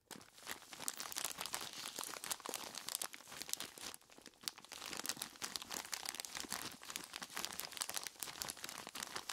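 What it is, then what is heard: Plastic bag full of ice cubes. A large clear plastic bag full of ice cubes is squeezed by hands in knobbly rubber monster gloves. Dense, bright crinkling and crunching runs throughout with almost no low end, easing briefly near the middle before picking back up.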